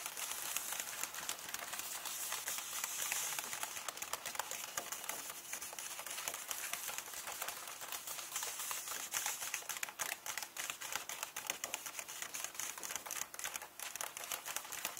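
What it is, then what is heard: Paper book pages being tapped and scratched. Fingertips and nails quickly tap and scratch across the paper pages of an open hardcover book with text pages. The result is a dense, bright stream of crisp ticks and papery scratches with almost no low end. Around the midpoint, the sound shifts into more separated, sharper taps.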